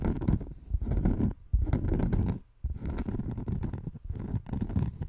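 A large, round, thin, solid cork disc, like a trivet or pinboard, is held up close to the microphone and scratched with fingernails. The result is dense, rough scratching in bursts, heavy in low rumble with bright crackly edges, broken by two short pauses near 1.4 and 2.5 seconds.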